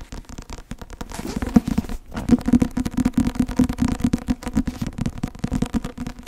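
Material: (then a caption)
Paper. Long nails rapidly tap and scratch across the cover of a thick white and blue Academia Iuris softcover law textbook held at a tilt. A dense stream of dry, muffled clicks and scrapes sits mostly in the low-mid range around 230 Hz, with a brief pause near the two-second mark before the tapping resumes.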